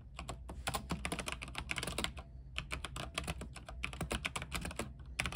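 Fast two-handed fingertip typing on a full-size RGB-backlit mechanical keyboard with white plastic keycaps and a silver aluminium case resting on a desk. Dense, short, bright clacks come in quick bursts with brief pauses, over a steady low hum.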